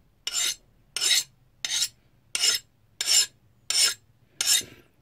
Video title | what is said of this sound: Forging My First Knife + Forging Fail!!! | listen to that good solid sound